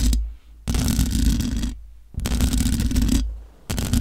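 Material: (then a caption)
Metal mesh. Long nails scratch the hollow metal mesh grille of a large black microphone. The result is a series of long, rough scraping passes separated by short pauses, each with a heavy low boom under bright, hissy scratching.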